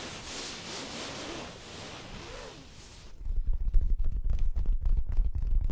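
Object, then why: Fabric-covered stuffed cushion. Long acrylic nails scratch and rub the fabric surface of a soft, stuffed orange throw pillow held in front of the mic with both hands. For the first three seconds there is a quiet, airy brushing hiss. It then gives way to louder, rapid, irregular scratching with a deep, muffled, thumpy low end.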